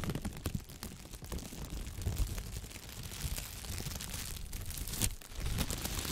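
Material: Thin plastic.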